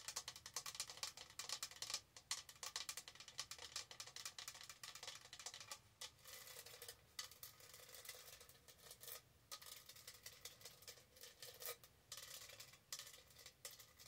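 Long nails scratch and tap the diamond-studded sides of a tall, hollow pink plastic tumbler held in both hands. The result is a quiet, dense stream of rapid, bright clicks and crisp scratching, mostly high-pitched with almost no low end. Brief pauses break up the stream now and then.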